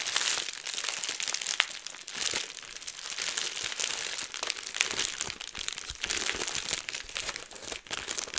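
A roll of clear plastic bubble wrap is held in both hands while the fingers twist it and pop the bubbles. The result is a steady, bright crinkling with many quick, sharp pops and almost no low end.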